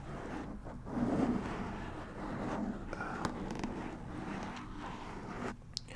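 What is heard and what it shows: A black foam windscreen on a white microphone is scratched and rubbed with the fingertips of both hands. The result is a steady, dense, muffled rustling and scraping, mostly in the low-mids, with a few sharp clicks standing out.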